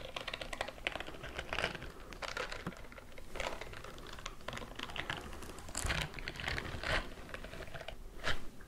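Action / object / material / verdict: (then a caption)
scrape / silicone bristle glove / silicone / none. Fingernails scratch quickly up and down the bristles on the fingers and palm of a white silicone bristle scrubbing glove worn on a raised hand. The result is a dense run of rapid, dry clicking and scratching, with bright rasping bursts that rise and fall as the strokes sweep along the bristles.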